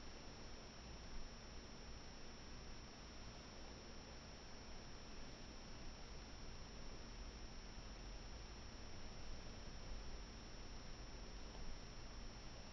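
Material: Nothing is struck.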